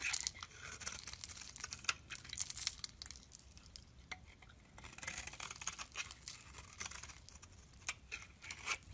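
A metal blade scrapes flaky shavings off a solid, pale green rectangular bar of soap held in the palm. The sound is a quiet, dry, bright rasping made of many short scraping strokes, with crisp crackling edges and almost no low end.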